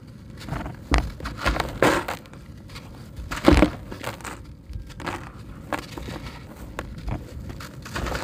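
A dry, porous, solid grey concrete brick is held and broken into chunks by hand, then fingers squeeze and crumble the pieces over a tub of concrete grit. Sharp crunching snaps stand out early, with the loudest break around the middle, followed by quieter gritty crackling and trickling debris. The brick proves crumbly, coming apart easily into pieces and grit.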